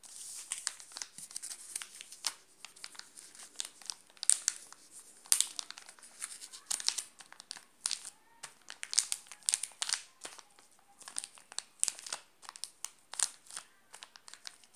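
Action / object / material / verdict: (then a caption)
scrape / glossy plastic chocolate bar wrapper / plastic film / none. A flat hand rubs and presses the glossy plastic wrapper of a full, sealed Alpino chocolate bar, crinkling it. The result is a steady stream of sharp, bright crackles and crinkles with almost no low end. Each crackle cuts off instantly, with louder bursts popping out now and then.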